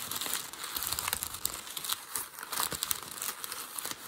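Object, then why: Packing paper. A sheet of light grey-beige packing paper, formed into a hollow loose ball on a white desk, is crumpled and squeezed with the fingertips and palm. It gives a steady, dense crinkling full of sharp, bright crackles, with almost no low end. The loudness rises and falls with each squeeze.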